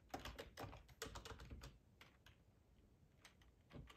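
Fingertips of both hands type on a black plastic ergonomic split computer keyboard with a hollow housing, lying on a tablecloth. A quick, irregular clatter of short, dry key taps with a low, hollow thump comes in a dense burst for the first second and a half, then thins to sparser, softer taps before a final cluster near the end.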